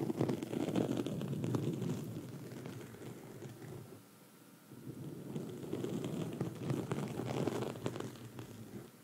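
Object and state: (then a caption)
Foam microphone windscreen scratched. Long red acrylic nails on both hands scratch a soft, porous black foam windscreen on a microphone. The result is a dense, muffled rustling and crackling weighted toward the low end, which fades to a quiet lull around the middle before picking back up.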